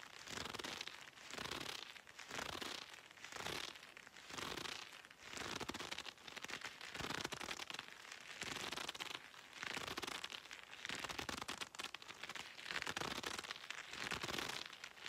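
A pair of dark red leather gloves worn on both hands, held close up, with the gloved fingers squeezing, rubbing and flexing against each other. The result is soft, bright crackling leather creaks in repeated swells about every second, with little low end.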